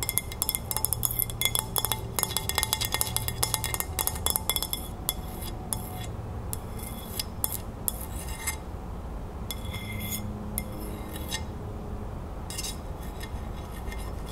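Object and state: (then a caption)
Ceramic plate. Long nails tap and scratch the glazed surface of a white ceramic dinner plate with a green crown print, held upright. Fast, bright, clicky taps cluster densely over the first five seconds, then thin out into scattered taps and scratches. Each tap dies away almost instantly over a steady low background rumble.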